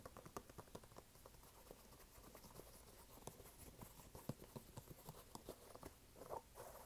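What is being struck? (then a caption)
Canvas sneaker with rubber sole. Fingernails tap rapidly on the canvas side and white rubber sole of a red canvas sneaker held upright. Quick, dry, soft taps with short clicky edges and no ring are heard over a faint steady hiss.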